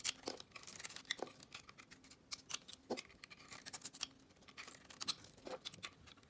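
A metal box-cutter blade carves and scrapes the glossy pink coating off a solid oval bar of soap with a white interior, held in the hand, peeling it away in curls. Quiet, bright scraping and crisp ticking strokes come in quick irregular bursts, each dying away almost at once, with hardly any low end.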